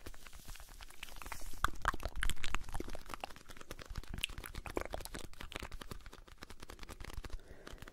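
Fingertips and nails scratch and tap the surface of a blue Alpen Salz cardboard salt box, making dense, irregular crunchy clicks and crinkly scrapes. The short, dry taps carry a low thump and bright scratchy edges, swelling louder for a moment early on before settling into steady soft scratching.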